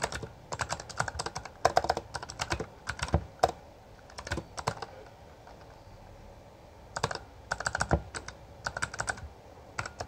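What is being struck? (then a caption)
Mechanical keyboard with plastic keycaps. Both hands tap with their fingertips on a Bloody B820R full-size backlit mechanical keyboard with plastic keycaps. Quick bursts of sharp, clacky keystrokes come in runs, with a quiet pause in the middle before typing resumes. Each click is short and dry with almost no ring.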